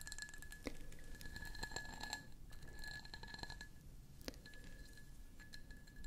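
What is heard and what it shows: Long natural fingernails tap and scratch the ridged, faceted sides of a medium-sized hollow cut glass candle jar held in both hands close to the microphones. Quiet, rapid clicks and scrapes are heard with short bright glassy pings and a steady high ring, over a low rumbling background.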